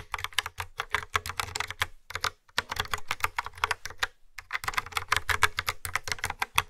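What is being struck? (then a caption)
Plastic keyboard with round keycaps. Fingertips with nails type steadily on a yellow and black plastic retro keyboard with round grey keycaps and a hollow housing. The rapid key taps are bright and clicky, with a low, hollow thump beneath them. Two brief pauses break the typing, near two and four seconds in.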